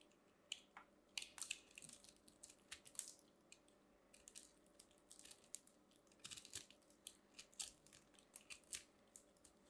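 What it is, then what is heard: Pressed soap shavings ball being carved. A metal craft knife carves and scrapes a small purple ball of compressed soap shavings, solid and crumbly, held in the fingers, cutting off crunchy flakes. Quiet, bright, crisp crunches and scraping bursts come in quick irregular clusters. Each stops dead with almost no ring.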